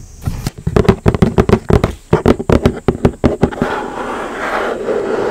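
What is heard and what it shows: A large, hollow, red printed cardboard retail box for a Nintendo Switch OLED is held upright and tapped with long nails and fingertips, giving 21 quick, dry, hollow taps with short decay. It then shifts to a steady, rustling scratch across the cardboard surface.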